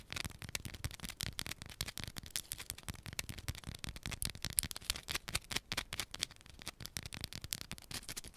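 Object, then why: Solid soap bar scratched with fingernails. Long pointed nails scratch fast across a small solid yellow bar of soap held in one hand. A dense run of quick, dry, bright scratches follows, with short crisp attacks that die away at once.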